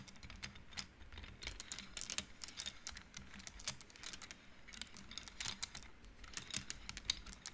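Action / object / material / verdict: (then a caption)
flick / wooden bead abacus / wood / none. Hands slide and flick the painted wooden beads along the metal rods of an upright wooden-frame abacus, making them click. Rapid, dry, bright clicks and clatters come in uneven bursts, each dying away instantly, over a faint low rumble.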